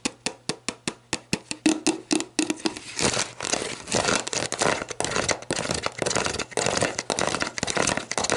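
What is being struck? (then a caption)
Plastic bottle. Long black nails tap an empty, hollow, clear plastic sports drink bottle on its ridged bottom and its label. About a dozen crisp, separate hollow clicks open the clip, then the nails move into a fast, dense run of tapping and scratchy plastic rustling, bright and close with a very short ring.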